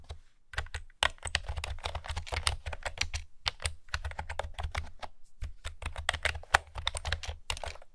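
Long fingernails type on a pastel plastic retro keyboard with round keys, making a hollow sound. Rapid, short, bright clacks come in uneven bursts over a steady low hum, with a few brief pauses between runs.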